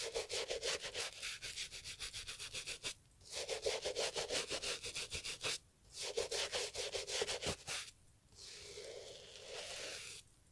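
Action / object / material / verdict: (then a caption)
scrape / leather loafer scrubbed with a bristle brush / leather / none. A gloved hand scrubs a brown Italian leather loafer with a bristle brush, rubbing and scratching across the dry, worn leather. Quick, bright, rhythmic brush strokes come in three bursts separated by short pauses. A smoother, continuous scrub follows and then stops.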